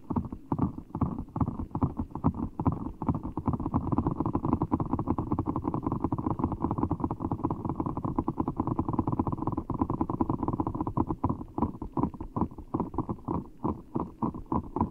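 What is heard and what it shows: Fingertips squeeze a large, full ball of blue water gel beads in a clear rubber skin, held over the microphone. A continuous, dense, squishy rumble fills the low and middle range, broken by rapid, irregular soft pops and squelches. There is almost nothing in the high range.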